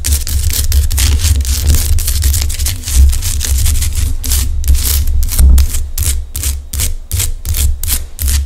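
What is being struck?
Rock salt lamp.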